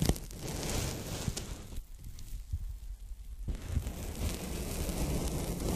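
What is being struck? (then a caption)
Polyethylene foam packing bag. A folded strip of pink polyethylene foam packing bag is held in both hands while fingertips and nails lightly tap and rub it. The result is a soft, dense crackling rustle weighted toward low tones, with scattered light taps. The texture thins to a quieter, sparser patch near the middle before the fuller rubbing returns.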